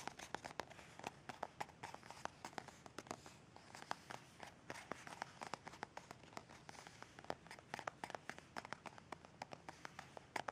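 Long red nails tap and scratch a white plastic squeeze tube of Kalaya pain relief cream near its small cap; the tube is hollow and partly full. The result is a steady run of quiet, short, crisp clicks with soft scratchy rustling between them, with a bright, hollow plastic tone and almost no ring.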